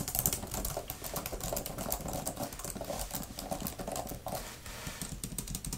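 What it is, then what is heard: Plastic laptop keyboard being typed on. Both hands with long manicured nails and fingertips type fast on a grey laptop-style type-cover keyboard with plastic keys and a fabric-covered palm rest. A dense, steady stream of short plastic taps and clicks follows, with a low thud under each press and bright clicky edges that die away almost at once.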